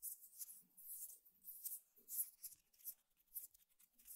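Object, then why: Woven rattan table mat. Medium-length fingernails scratch along the woven strands in the middle of a flat, square woven rattan table mat. A series of quiet, dry, bright rasping strokes rise and fall, with almost no low end and a very short, crisp decay between them.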